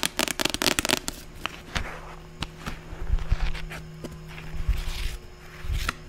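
Quick dry clicks of fingernails on a paperback cover, then slower taps and soft scratching, with no ring.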